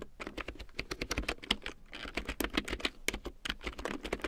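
A full-size large print keyboard with a black plastic frame and big yellow plastic keycaps, lying on faux fur, is typed on with long painted nails and fingertips. A steady run of quick, dry plastic taps and clicks follows, bright and crisp with a soft low thud beneath each key. Every stroke stops almost at once.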